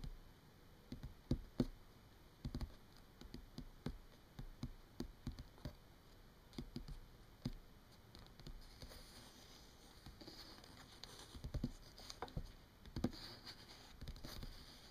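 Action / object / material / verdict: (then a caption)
tap / paperback book, paper pages / paper / none. Long painted nails tap and scratch across the printed pages of an open paperback book lying on a table, its paper pages forming a solid stack. The many quiet, dull taps are short and mostly low, with soft scratchy brushing between them and brighter rasping near the end.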